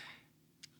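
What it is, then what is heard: Loose rattling volume knob on a handheld recorder. The loose side volume knobs on a Zoom H1n handheld field recorder rattle as it is shaken while recording, and its own mic picks up the noise. Faint high hiss fades over the first fraction of a second, then a single short, sharp, high-pitched tick sounds. The knobs are loose and rattle when they should not.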